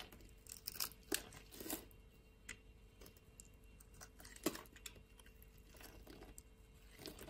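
A metal utility-knife blade shaves flakes off a solid purple bar of soap with a diamond-scored surface, held in the hand. Soft, crisp scraping and crunchy crumbling come in irregular bursts, bright and quiet, with a faint steady hum underneath.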